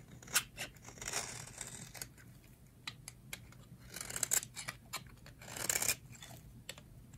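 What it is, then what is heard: Dry soap bar being scraped. A metal blade scrapes fine shavings off a solid, hand-sized white oval bar of dry soap held in the hands. Crisp, bright scratches and sharp ticks come in quick strokes, with a few longer raspy scrapes between them, over a faint low hum.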